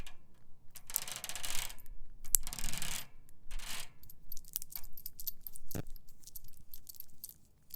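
A bicycle basket is tapped and scratched with a nail worn on a finger, giving bursts of bright, raspy scraping with sharp metallic ticks and a faint ringing tone. Between the scraping passes come scattered light taps.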